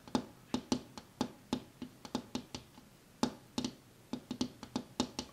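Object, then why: Glass window pane. A glass window pane is tapped with one hand, giving 21 quick, separate knocks over about five seconds in an uneven rhythm. Each tap is a short, dry tick with a low body around 250 Hz and a bright, high click that dies away almost at once, with quiet gaps between them.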